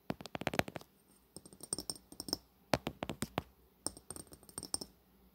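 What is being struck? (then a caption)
Metal-coated glass cosmetic bottle. A Fenty Beauty cosmetic bottle, a long, hollow glass bottle with a metallic bronze coating, is held horizontally and tapped along its length with long natural fingernails. The taps come in four quick bursts separated by brief pauses. They are sharp, bright clicks with a faint glassy tone and almost no ring.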